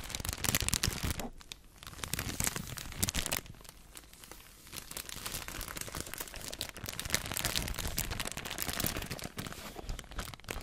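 A clear, thin plastic bag holding a stack of white disposable face masks is held in front of the microphone and squeezed and crinkled with fingertips and long painted nails. Dense, bright crinkling and crackling runs throughout, with louder bursts near the start and around three seconds, and quieter stretches in between.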